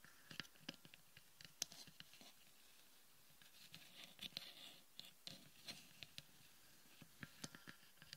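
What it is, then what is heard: Frosted plastic sphere. Long painted nails tap and scratch the upper dome of a palm-sized hollow sphere of frosted white plastic resting on a wooden table. Quiet, sharp, bright clicks land in irregular bursts, with no ring after each tap. A soft stretch of raspy scratching sits in the middle, with near silence around it.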